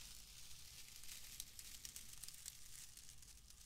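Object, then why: Bundle of wood wool. A loose, pale, palm-sized bundle of wood wool is squeezed, crumpled and rubbed by hand close to the microphone. A soft, continuous bright crackling and rustling is heard, with small sharp snaps scattered throughout over a faint low rumble.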